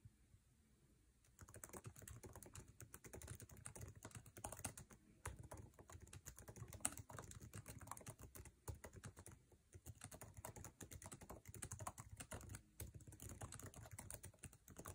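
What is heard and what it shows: Fingertips of both hands type fast on the backlit, low-profile scissor-switch keyboard with plastic keycaps of an aluminum MacBook Air resting on a table. After a quiet first second, a dense, continuous stream of short, soft clicking taps follows, with a low thump under each key and a bright top edge. The taps stop ringing almost at once, with a brief lull near the middle.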